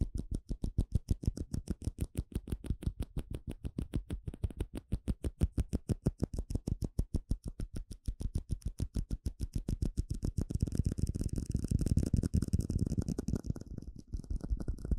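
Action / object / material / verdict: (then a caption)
tap / small plastic cup / plastic / none. A small, hollow, empty clear plastic cup is tapped rapidly with fingertips and nails in a steady stream of quick, dull, low thumps with faint clicky ticks. The taps die away almost instantly. After about ten seconds they grow denser and slightly louder, blurring into a hollow, drumming patter.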